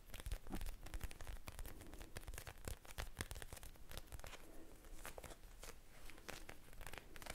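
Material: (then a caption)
Plastic. A small blue eye mask, a soft clear plastic pouch filled with gel beads, is held close and tapped and squeezed with long painted nails. It gives a steady stream of quick crinkly, crackling plastic taps with soft low-heavy body and brief bright edges.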